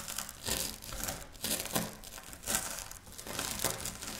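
Long natural nails and fingertips of both hands scratch and rub through a loose pile of dry, crumbled wafer biscuit on a flat pinkish speckled stone-like surface, crushing the solid small crumbs against it. The result is bright, crinkly crunching and scratching that swells and fades in repeated bursts.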